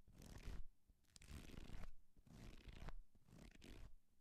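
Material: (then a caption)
Paper. A small, thick paperback book is held in the hand while fingertips and nails scratch and tap along its page edges and cover. The result is soft, dry scratching and rustling in several slow swells, with brief quiet gaps between them and a hint of muffled low thumping underneath.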